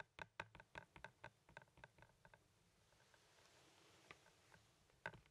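Fingertips and nails tap on a hand-sized, hollow blue plastic Blu-ray movie case held in the hand, giving about sixteen short, dry clicks with a hollow plastic tone. The taps come in a quick run over the first two seconds, then thin out after a quiet stretch, with a few scattered clicks and one sharper tap near the end.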